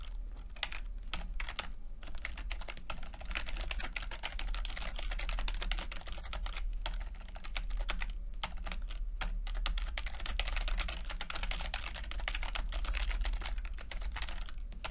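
Fingertips of both hands type continuously on a full-size plastic computer keyboard with red and blue backlit keys and low-profile keycaps. The result is a steady stream of quick, bright clicks and taps over a constant low hum for the whole clip.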